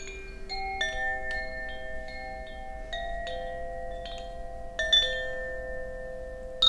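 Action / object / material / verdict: shake / bamboo wind chime with tuned metal rods / metal rods / none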